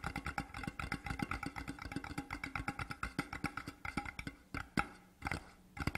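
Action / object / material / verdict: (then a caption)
tap / large cardboard tube / cardboard / none. A large, empty, hollow printed cardboard whisky tube from Deveron lies on its side on a cloth and is tapped fast with the fingertips of both hands. The result is a quick run of dull, hollow knocks with a low resonant tone and short decay. The rhythm loosens toward the end into a few spaced, louder taps.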